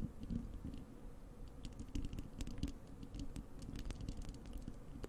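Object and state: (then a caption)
Metal mesh microphone grille being scratched. Long acrylic nails on both hands scratch the bare, hollow wire-mesh metal grille of a large desktop microphone. The result is a steady, dense patter of scratching with a heavy low rumble and quick, bright ticks and clicks scattered throughout, each dying away almost instantly.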